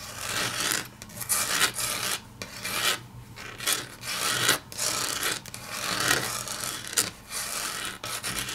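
Long natural fingernails tap and scratch across a large, flat, solid grey wood-grain laminate tabletop. Bright, dry raspy scratching strokes come in repeated bursts, mixed with crisp clicking taps.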